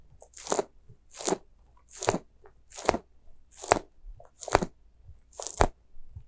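A small, white, soft rubber spiky ghost squishy toy is squeezed and scratched with long nails. This makes a steady series of squelchy, crunchy bursts with bright crackling, separated by short quiet gaps.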